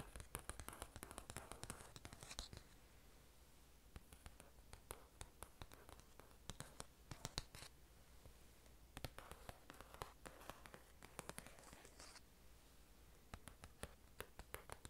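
Long orange nails tap and scratch the cover of a glossy paper magazine held up to the camera. Quiet, rapid clicking taps mix with bursts of dry, hissing scratches over a faint low hum.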